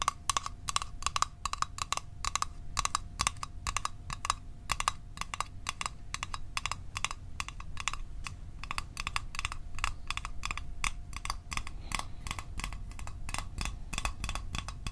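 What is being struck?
Small hollow metal mint tin.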